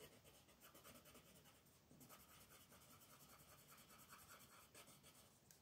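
A hand with long painted nails rubs a wooden colored pencil back and forth on a thin paper coloring book page lying flat on a wooden table, shading the drawing. Steady, quiet, scratchy strokes carry bright hiss and a rasp centered around 1.2 kHz. They blend into a continuous rhythmic texture with no clear pauses.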